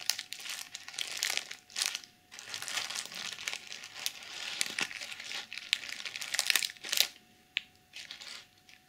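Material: Plastic sequins.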